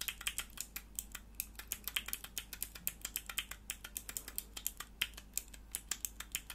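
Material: Plastic.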